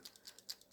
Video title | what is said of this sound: MOLOTOW versus TOOLI-Art paint markers Part2 | You barely hear it compared to the other one. It's really a gentle sound, but you can hear it clearly.